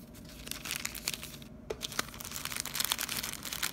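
Fingers squeeze and crinkle a hand-sized clear plastic bag full of printed stickers held in one hand. The result is a steady run of bright, crackly crinkles with sharp snaps throughout, mostly in the high range with little low end.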